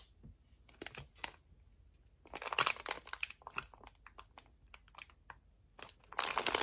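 A large printed clear plastic bag holding a red polyurethane-foam watermelon-slice squishy is gripped and pressed by both hands with medium-length nails. The thin plastic crinkles over the soft solid foam toy in short, bright, crackling bursts, separated by quiet gaps. A denser, louder crinkle swells near the end.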